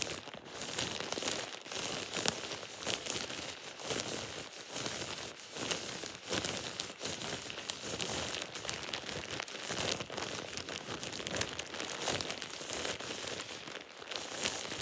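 A thin plastic shower cap with an elastic edge is squeezed and crumpled in the hand. It makes a steady stream of bright, crisp crinkling and crackling for about fifteen seconds, with little low end and no lingering ring.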